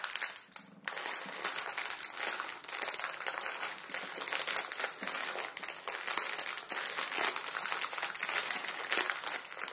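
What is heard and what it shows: A full, palm-sized plastic film ramen packet rests on a wooden table while both hands press and crinkle it with the fingertips, crushing the dry noodles inside. The result is a continuous, bright crinkling and crackling with dense small snaps and no low end, lasting the whole clip at a steady level.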